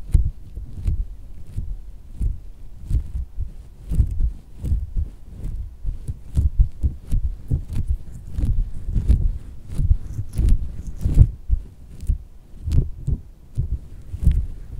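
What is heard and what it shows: A hand with red nails repeatedly grips and squeezes a pink soft silicone squishy dog toy resting on fabric. The result is a steady series of soft, muffled low thumps like a heartbeat, with brief faint bright ticks on some presses.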